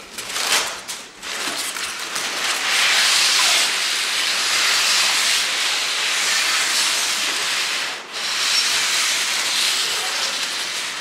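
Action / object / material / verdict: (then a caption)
scrape / crumpled kraft paper sheets / paper / none. Both hands press, scrunch and rub large, thin, flexible sheets of crumpled brown kraft paper with the fingertips on a wooden table. The result is a dense, bright crinkling hiss with almost no low end. It runs nearly continuously, with short dips around the first second and near the eighth second.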